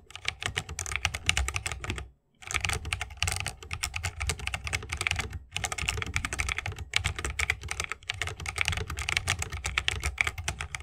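Rapid typing with the fingertips of both hands on a 60% mechanical keyboard with a bamboo wood case, plastic keycaps and Holy Panda tactile switches. Dense, bright, short clacks with a low thocky body run steadily, with brief pauses at about 2 and 5.5 seconds.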